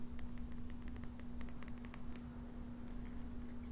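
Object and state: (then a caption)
Small glass bottle of paper scrolls. A small clear bottle, glass or possibly plastic, with a stopper and a tag and filled with rolled colorful paper scrolls, is tapped and shaken by fingers with long painted nails. Quick, bright clicks and light rattles sound as the scrolls shift inside, over a steady low hum.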